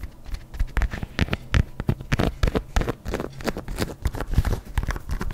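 Long nails tap and scratch the upper and stripes of an empty white adidas leather sneaker held in one hand. The result is a quick, irregular patter of short, dull, bass-heavy taps mixed with soft scratching.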